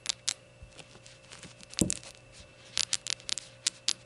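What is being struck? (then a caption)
Small glazed ceramic shot glass. Long gold nails tap rapidly on a small glazed ceramic rainbow shot glass standing upside down on a towel, making bright, dry clicks that stop almost at once. The taps come in irregular bursts, with one fuller, heavier knock midway and a faint steady hum underneath.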